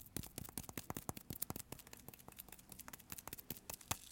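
Short fingertips tap quickly on the surface of a solid, palm-sized yellow bar of Marseille soap embossed "Citronnelle," held in both hands. The result is a rapid, uneven series of quiet, sticky-sounding taps. Each tap is a short, dry click with a bright edge and a soft low thump that stops almost instantly.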